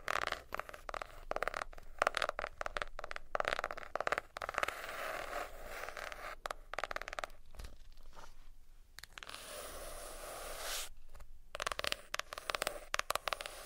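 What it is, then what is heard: Hardcover notebook. A hardcover notebook with a cardboard cover is tapped and scratched with fingernails. Dense bursts of dry, brushy scratching alternate with quick, sharp taps, and a faint steady tone sits beneath the sound throughout.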